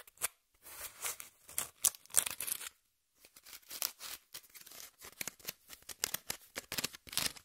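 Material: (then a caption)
Cardboard. Long nails scratch across the surface and edge of a brown corrugated cardboard piece, held flat and then upright. Dry, bright, rapid scratching comes in short rasping bursts with almost no low end, broken by a brief silence near the middle.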